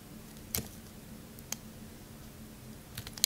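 A metal knife blade shaves along the faces of a solid, faceted, pale green bar of soap held in the hand. Several short, crisp, bright scrapes stand out over a quiet low hum. They are spaced apart, with a faster cluster near the end.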